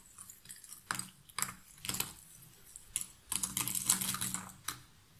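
Handfuls of cardboard jigsaw puzzle pieces are scooped up, rubbed between the palms and dropped back into the cardboard box lid. Quiet, bright rustling and clattering comes in irregular bursts, with sharper spikes where pieces fall, and a dense cluster of clicks near the end.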